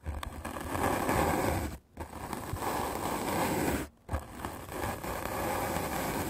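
A white rectangular magic eraser block of solid melamine foam, held in the hand, is scrubbed aggressively with a medium black-bristle paint brush. The result is a dense, steady, scratchy brushing hiss, broken by two brief pauses near 1.8 and 4 seconds before the scrubbing resumes.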